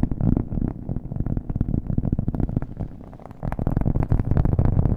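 A thin, solid, round cork coaster held in one hand is tapped rapidly with the fingernails of the other hand. The dense, dull taps are heavy in the low end with short, dry decays. They soften briefly near the three-second mark before picking up again louder.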